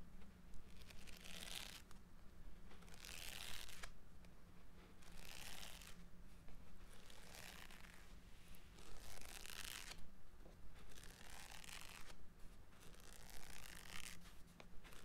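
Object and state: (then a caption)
Paper book page edges. A medium closed green hardcover paper book is held upright in one hand while the fingertips and nails of the other hand rub and scratch along the paper page edges of the fore-edge. Repeated bright, papery rasping strokes swell and fade in waves every couple of seconds over a steady low hum.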